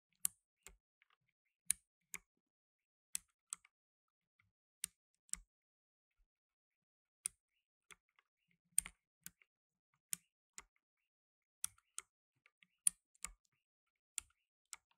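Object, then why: Plastic mechanical keyboard. Fingertips in blue nitrile gloves press keys on a black tenkeyless mechanical keyboard with plastic keycaps. Quiet, bright, sharp clicks come at irregular intervals with short silences between them. Each click dies away almost at once.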